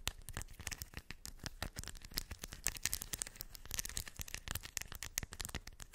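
Long white acrylic nails scratch and tap across small shiny silver metallic beads filling a round cork coaster. The result is a dense, quiet run of rapid, bright clicks and crackly rattling, each tap dying away almost instantly, with a soft low thump beneath.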